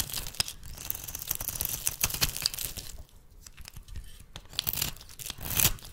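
A small metal blade shaves curled flakes from the end of a solid, rancid oval bar of red soap held in the hand. Dense, bright scraping and tearing crackles run steadily through the first three seconds, then drop quieter. They build again into a louder shaving burst near the end.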